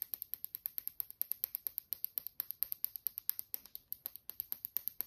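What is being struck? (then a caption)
Small plastic lip balm tube. A small, hollow pink and blue plastic lip balm stick is held in both hands and tapped with short nails and fingertips. The result is a steady run of about 44 quick, dry, bright clicks with almost no ring and very little low end.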